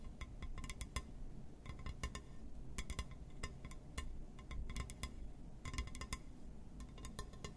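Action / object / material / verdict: tap / glass surface / glass / none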